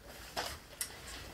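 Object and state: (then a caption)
Box containing diamond painting drills. A square gift box holding diamond painting drills and a canvas is shaken, producing two short, bright rattling bursts of the small drills shifting inside. The box turns out to contain a diamond painting kit with a butterfly and orange flower picture.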